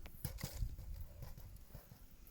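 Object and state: Baked-through damper (hollow sound).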